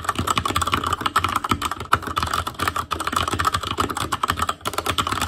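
Fingertips of both hands type continuously on an ASUS ROG Claymore Core mechanical keyboard with Cherry MX Red switches, black plastic keycaps on a metal frame, and a hollow housing with RGB backlight. The result is a steady stream of short, dry plastic clacks with a pronounced tone around 1.3 kHz and a soft low thump beneath, each keystroke dying away almost instantly.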